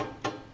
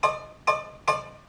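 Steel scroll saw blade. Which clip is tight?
The second.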